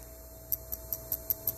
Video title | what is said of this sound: Overheating?!! Test these Items | I tap it and there's something something's loose in there.